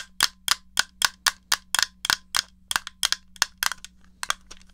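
Fingertips and painted nails tap the shell and press the buttons of a small, rectangular, hollow grey plastic NES controller held in one hand. About 19 sharp, bright clicks and taps come at a fairly steady pace, each dying away almost at once, over a faint steady low hum.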